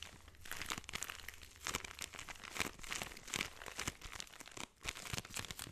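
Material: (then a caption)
Plastic, sand. A hand-sized, solid-feeling clear plastic bag full of orange kinetic sand is squeezed and rubbed with fingertips and thumbs, so the bag crinkles. Dense, bright crinkling and crunching pulses come in quick overlapping bursts, with a brief quiet gap near the end before the crinkling resumes.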